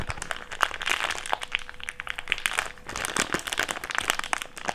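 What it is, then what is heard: Thick clear plastic bag being crumpled. An empty, thick, clear plastic bag is crumpled into a small wad and squeezed with the fingertips. It makes a continuous stream of dense, sharp crinkles and crackles, bright and papery, with a faint steady tone around 500 Hz underneath.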